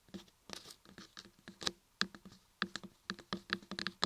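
Long nails tap and scratch the top edges and carved ears of a solid laundry soap block carved with ears. Quick, sharp clicky taps and brief scratches come in irregular clusters, bright and crisp with almost no ring, over a quiet background.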